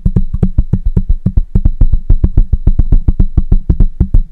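Fingertips of both hands tap quickly on the metal mesh grille of a black microphone, producing about 31 rapid, slightly uneven, deep thumps around 59 Hz. Each thump is short and dull, with a faint, steady high tone underneath.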